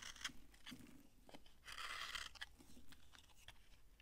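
A utility knife shaves crunchy flakes off a dry, solid yellow soap bar held in the hand. Short, bright, dry crunching scrapes come in quick bursts, with a denser, louder scrape in the middle.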